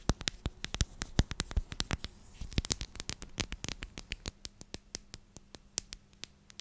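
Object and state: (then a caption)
Plastic storage container. Long nails tap and scratch a clear plastic storage container with a purple lid and purple contents. About 40 sharp, dry clicks land in an irregular, fast patter, each bright and gone almost instantly, with faint scratchy rustling between them.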